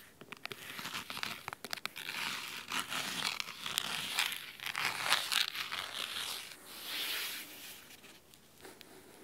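Fingernails scratch the cloth spine and top edge of a large, thick, solid red fabric-covered hardcover book lying on a wooden table. The sound is crisp, dry, bright scratching in quick irregular strokes and short rasping bursts, with little low end.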